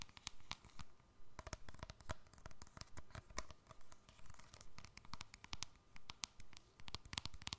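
A small, hollow silver keypad cell phone with a plastic casing is held upright close up and tapped and scratched with long fingernails. Quick, uneven bursts of dry clicks and scratchy rustles follow one another, each dying out almost instantly, with a soft low thump beneath bright tapping edges.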